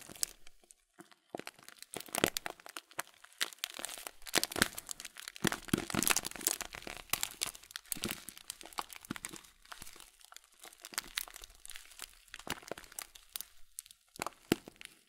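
A full blue Kölln plastic bag of oat flakes, held in both hands, is slowly squeezed and crinkled with the fingertips. Dense, bright plastic crinkles and crunches from the flakes inside come in uneven bursts, each snap dying away almost at once, with brief quiet gaps between.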